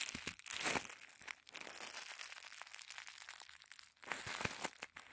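A small folded packet of thin white tissue paper is squeezed and crinkled between thumbs and fingertips. It makes a dense, bright crackling rustle with almost no low end, in bursts with brief lulls near 1.5 and 4 seconds.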